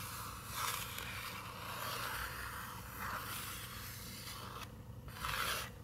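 Long nails and fingertips scratch and rub across a paper page of an open picture book, making soft, continuous dry scraping. Brighter swells of rasping texture rise and fade over a steady low hum, with a brief quieter pause just before a final bright scratch.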